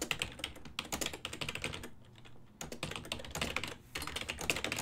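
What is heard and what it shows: Both hands type continuously with their fingertips on a full-size black and silver ergonomic desktop keyboard made of plastic, its keys set over a hollow body. Rapid, bright plastic clicks and taps come in quick bursts, with short pauses near the middle and just before the end.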